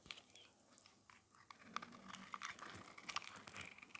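A metal blade scrapes an oval, solid, white dry soap bar held in the hand, shaving off crumbly white flakes. It makes quiet, dry, crisp crunching and crackling, with many short bright clicks over a soft gritty hiss.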